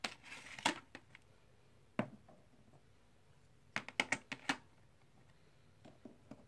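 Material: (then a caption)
Clay composite. Fingers handle and click stacks of small solid plastic/clay composite poker chips in a white tray. A brief rustling clatter opens the clip, followed by isolated sharp clicks, a quick burst of bright, dry clacks around the four-second mark, and a few softer clicks at the end. Each click is short and crisp with almost no ring, set against quiet silence.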